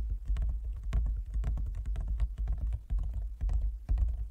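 Fingertips and nails of both hands tap rapidly on a large, closed, hollow wooden folding chess board. The irregular stream of quick taps gives soft, low, hollow knocks with sharper, brighter clicks from the nails, and each tap dies away quickly.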